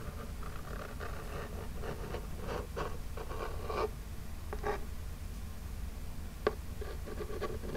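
Long jeweled nails scratch across the front of a small, flat, hollow printed Birchbox cardboard box. Soft, dry scratching strokes repeat in short bursts over a steady low rumble, with one sharper click near the end.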